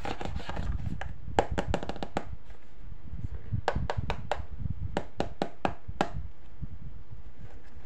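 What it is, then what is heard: Hollow plastic box. A small hollow pink hard-plastic box with an embossed Hello Kitty lid is held in the hands while fingertips and short nails tap and scratch the lid and edges, then the box is opened and the empty inner tray is touched. Sharp, bright clicking taps with a hollow tone near 790 Hz come in quick bursts and die away fast, over a soft, steady low rumble.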